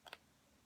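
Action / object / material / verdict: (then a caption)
tap / plastic lipstick cap / plastic / real. The plastic cap from one genuine MAC lipstick is pushed onto another genuine MAC lipstick, a limited edition, giving a quick, bright double click. The two sharp snaps are close together and die away almost at once. The cap fits perfectly, as all genuine MAC caps fit each other.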